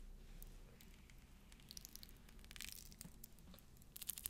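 Fingernails scratch and roll over the beads of a pearl necklace, a strand that later fell apart. The quiet, rapid clicks and bright crinkly scratches sit over a low, steady rumble and grow sharper and more frequent toward the end.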